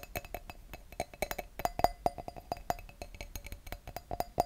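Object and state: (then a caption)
Wine glass. Fingertips and nails tap and scratch the bowl of an empty clear wine glass held over a microphone. A quick, uneven run of light, dry taps comes through, each with a brief glassy ping near 700 Hz. Faint scratching and bright upper overtones sit between the taps, and the tone dies away almost at once.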